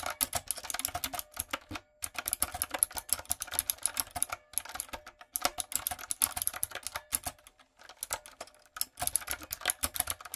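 Fingertips with long nails type on a retro, typewriter-style backlit mechanical keyboard with round plastic keycaps. Rapid runs of sharp, bright clicks and clacks come in bursts, broken by brief pauses. Each keystroke is dry and short, with almost no low end.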